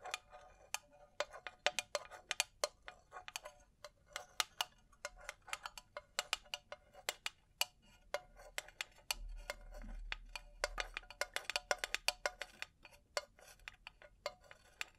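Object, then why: Faceted glass and metal cylindrical brush holder. A hollow, empty cylindrical makeup brush holder with faceted crystal glass panels in a gold metal frame is held in one hand and tapped with the long nails of the other, a chain veil lying nearby. Dozens of quick, irregular, bright clicking taps sound with almost no ring, with a faint low rumble underneath around the middle.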